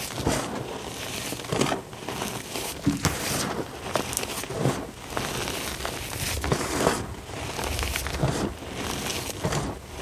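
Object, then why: Dyed gym chalk powder. Fingers pinch, squeeze and rub fine pink dyed gym chalk powder, producing soft, crinkly crunching and rustling bursts. The grainy texture rises and falls in swells with bright, hissy edges over a low, muffled body.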